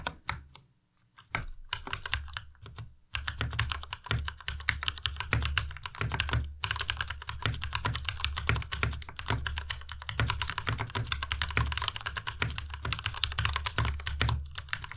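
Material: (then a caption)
Plastic. A white compact Ducky Miya Pro mechanical keyboard with plastic keycaps is typed on continuously with the fingertips of both hands. After a few brief pauses at the start, rapid, dense keystrokes follow, each a short clack with a low thock body and a bright, crisp top that dies away quickly.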